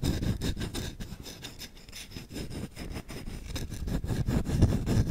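Short nails scratch fast across the grained back of the bowl of a solid wooden spoon. The result is a rapid, slightly uneven run of dry rasping strokes, heavy in low rumble with faint bright scratchy edges. The strokes grow louder toward the end.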